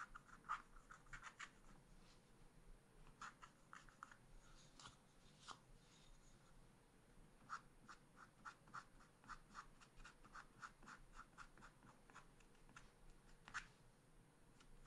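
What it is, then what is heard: Scratch art paper card. A wooden stylus makes light scratching strokes on the tail area of a small black-coated scratch art paper card. A quiet run of short, dry, rasping scrapes comes in quick irregular bursts, each a brief bright streak centered around 1.2 kHz with crisp high edges. The strokes die away almost instantly over a faint low hum.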